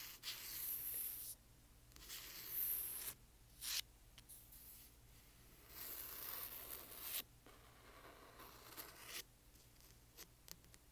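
Fingernails scratch and tap along the spine and corner of a large hardcover book. The result is a run of bright, dry, papery scraping bursts with a few sharp taps between them, separated by quiet pauses.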